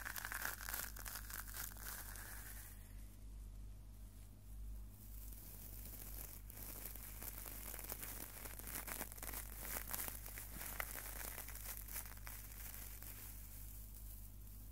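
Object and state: Stainless steel scrubber.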